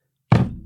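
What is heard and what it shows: A 100-ounce (6.25 lb) silver bar is set down on a table, making a single heavy, low thunk with a brief resonant ring. It is set down to show how heavy it sounds compared with a one-pound piece of silver.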